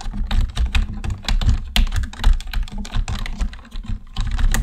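Fingertips on both hands type quickly and steadily on a black plastic computer keyboard. The taps are short, dull clicks with a heavy low thump under them and brief bright ticks on top, each dying away almost instantly.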